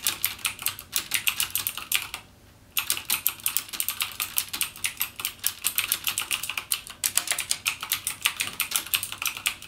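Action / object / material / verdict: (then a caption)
tap / plastic mechanical keyboard / plastic / none. Fingertips type steadily and rapidly on a full-size backlit mechanical gaming keyboard with plastic keycaps and Cherry MX Blue switches, resting on a desk. The key presses are bright, sharp clicks that stop dead, with a brief pause just after two seconds before the fast typing resumes.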